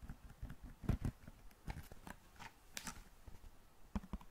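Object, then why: Large flat cardboard matchbox. A large, flat, hollow cardboard box of long matches is tapped rapidly with long nails and fingertips. The result is a quiet, irregular run of short, dull, hollow taps with very little ring. The deep thumps are mixed with a few brighter clicks.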